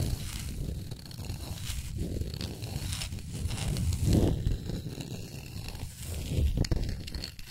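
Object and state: Wooden plaque scratched and tapped with nails.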